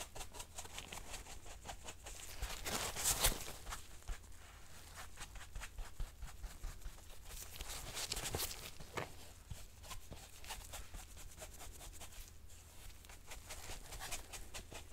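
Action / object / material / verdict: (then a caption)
scrape / fabric-covered hard-shell headphone case / fabric / none. A soft makeup brush, held in a nitrile-gloved hand, is brushed over a hollow, black fabric-covered hard-shell headphone case. The result is a quiet, dense, irregular patter of bright, scratchy brush strokes over a steady low hum, with louder swells around three and eight seconds.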